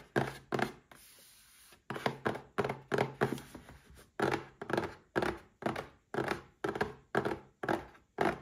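Fingertips and short nails tap a small red cardboard gift box holding a Paladone Mario Kart glass. The result is a steady series of dull, hollow knocks with a mid-range body, each dying away quickly, broken early on by a brief stretch of soft, bright hiss.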